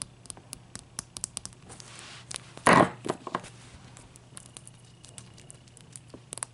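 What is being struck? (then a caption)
Large ice cube. Long dark-painted nails tap and scratch a large, clear, solid ice cube resting on a white towel. Sharp, bright clicks patter throughout, broken by a louder rough scraping burst near the middle over a faint low hum.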